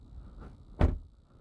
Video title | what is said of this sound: 2021 Volvo XC90 T6 Inscription - Utter Simplicity, Luxury Style | now shutting the door it sounds solid